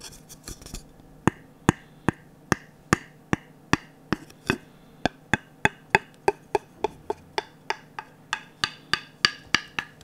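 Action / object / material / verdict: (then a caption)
tap / varnished wooden ladle / wood / none. A medium glossy orange varnished wooden ladle with an empty bowl is tapped with a thin wooden stick. A few quick, soft taps open the clip, followed by a steady run of sharp, dry, hollow woody clicks that stop almost instantly, each with a bright knock on top of a low body. The taps grow slightly faster toward the end.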